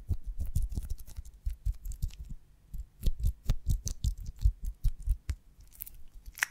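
Long nails tap and scratch a beeswax honeycomb on a branch, held sideways with its wooden stick showing. A quick, uneven series of dull, low, dry taps on the waxy comb is heard, with faint, bright scratchy rasps between them. A sharper scrape comes at the end.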